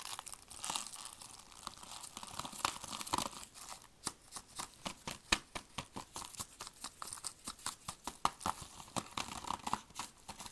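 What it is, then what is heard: Shrink-wrapped plastic DVD case. A handheld movie DVD case of hard, hollow plastic sealed in cellophane shrink wrap is turned over, then tapped and scratched on its back and edge with gloved fingertips while the wrap crinkles. Quiet, bright, crisp crinkling and scratching run throughout, punctuated by many short, sharp taps that become more distinct and evenly spaced in the second half.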